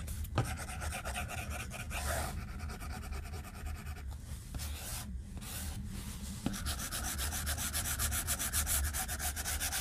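A white plastic stylus tip scratches in rapid strokes across the flat glass screen of a tablet, making dense, bright, scratchy ticks. The strokes ease off briefly in the middle, and sharp taps stand out near the start and again at about 6.5 seconds before quick scratching resumes. A steady low hum runs underneath throughout.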